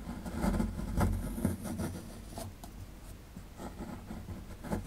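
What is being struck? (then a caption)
Plaster dig block. A metal pick scrapes the lower right area of a solid plaster fossil dig block, producing dry, gritty scratching in short, uneven strokes. The sound is mostly low and dull, with two sharper scrapes standing out early on before the scratching settles into a quieter, steady rasp.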